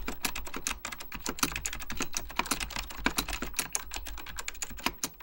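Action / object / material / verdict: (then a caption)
tap / mechanical computer keyboard, plastic / plastic / none. Fingertips type rapidly on an Apple Extended Keyboard II, a mechanical computer keyboard with beige plastic keycaps and a hollow plastic case. A dense stream of sharp, bright key taps with very short decay plays over a steady low hum.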